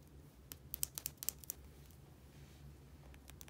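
Long painted nails tap and scratch a small, hollow, travel-size plastic bottle with a white rounded cap and an orange and white label. A quick cluster of sharp, bright clicks comes first, then a few fainter taps near the end. It is quiet, over a steady low hum.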